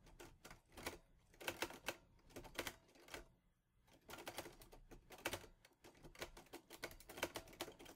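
Fingertips type on the keys of a teal metal portable Olivetti Lettera 22 typewriter, producing quick, bright clacks in uneven bursts. Each strike is short and dry, with only a brief pause near the middle before the typing resumes.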